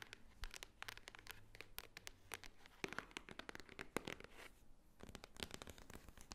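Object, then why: Small cardboard jewelry box. Long nails tap rapidly on the top edge and front of a small, hollow, white Swarovski cardboard jewelry box. The result is a quiet, fast patter of sharp, dry clicks with bright edges and almost no ring, over a faint low rumble.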